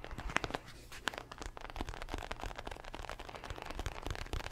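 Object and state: Leather boxing glove.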